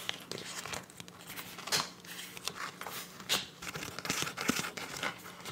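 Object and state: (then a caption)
Soft plastic zip pouch. A clear soft PVC zip pouch with teal print, hollow and apparently empty, is tapped, scratched and crinkled by long nails. Bright, crackly plastic crinkles and sharp scratchy taps come in irregular bursts. A faint steady low hum sits underneath.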